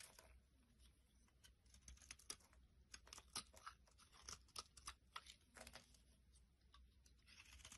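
A utility blade scrapes thin flakes off the top of a solid pink bar of soap held in the hand. The quiet, irregular strokes make crisp, bright scratching and crackling sounds, each ending abruptly, over a faint low hum.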